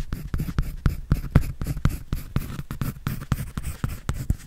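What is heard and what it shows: A pencil scratches and draws on a white paper sketch pad held by hand, making a quick, uneven series of short, dry strokes. Each stroke is a brief scratch with a soft, low thud underneath that stops almost immediately.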